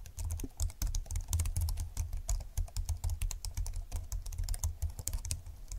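Fingertips of both hands type fast and densely on a slim computer keyboard with plastic keys and a grey frame. A rapid, continuous stream of short, crisp clicks over a soft low thump from each keystroke runs throughout, with brief bright clacks and almost no ring after each tap.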